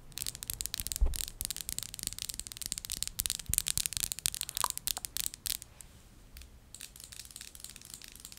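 Long acrylic nails tap and scratch the faceted sides and top of a small, partly filled perfume bottle of solid, thick clear glass held in both hands. Rapid, bright clicks and crisp scraping patter densely with a few heavier knocks. The activity thins to softer, sparser ticks toward the end.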